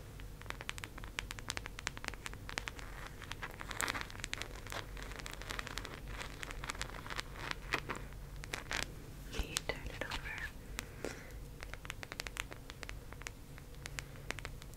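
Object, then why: Round plastic case. Long acrylic nails tap and scratch the domed surface of a hollow, palm-sized teal round plastic case held up in the air. Quick, bright clicks and scratchy scrapes come in a dense, irregular stream over a steady low hum, each tap dying away almost at once.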